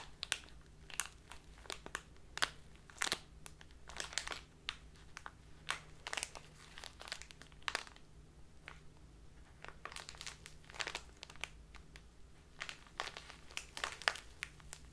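A full plastic bag of dark loose tea is crumpled and squeezed in both hands with long nails. Dense, bright crinkles and sharp crackles come in quick bursts throughout, over a faint steady low hum.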